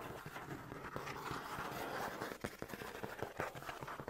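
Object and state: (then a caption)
Cardboard box. Fingertips tap and scratch the flat side of a hollow, medium orange printed cardboard shipping box (Tokyo Treat) held in one hand. A steady dry scratching rustle fills the first half, then gives way to sharper, dull hollow taps with short, quickly fading knocks.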